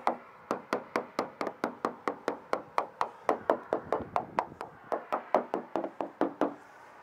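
A hammer taps a bonded fiberglass boat transom 29 times, checking a couple of areas a moisture meter had flagged. Each tap is a short, solid knock with a mid-range tone that dies away almost instantly, coming at a steady working pace. The taps sound solid and the transom is not delaminated, though one spot sounds slightly different because something sits behind it.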